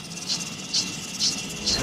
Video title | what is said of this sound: 【一饭封神 S2】EP2-2：鸡炒荔枝？这猎奇搭配让谢霆锋拍手叫好？#谢霆锋 #张勇 #vicky #李诞 #一饭封神2 #厨艺竞技 | ถ้ารีดความชื้นออกจนหมดแล้วเสียงกระทบกันก็จะกังวานและใสขึ้นแสดงว่าถั่วลิสงทอดได้ที่แล้ว